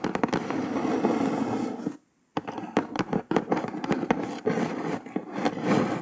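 Long nails tap rapidly with several fingers on the top of a brown kraft cardboard box. Quick, dry, bright clicks ride over a steady papery scratching rustle with a warm low-mid body. A brief full silence falls near the two-second mark before the tapping resumes.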